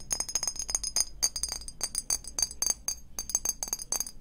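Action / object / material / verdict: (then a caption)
tap / small glass perfume bottle / glass / none. Long painted fingernails tap fast on a small, hollow clear glass perfume bottle with a silver cap. The taps come as quick, irregular bursts of bright, high glassy clinks that stop short, with faint music in the background.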